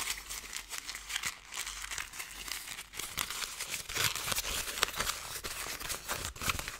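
A ball of thin gold foil paper, already crumpled, is squeezed and crinkled close up with fingers and long nails. It makes a steady stream of bright, crisp crackles and crinkles with almost no low end, each snap dying away at once.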